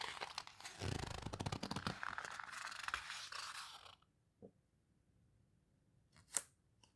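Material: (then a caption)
Paper. A page of an open paper photo book about houseboats is mid-turn as fingertips and long nails rub and squeeze the paper pages near the edges, producing dense, crinkly rustling and scraping for about four seconds. The sound then drops to near silence, broken by a soft tap and later a sharp, bright click.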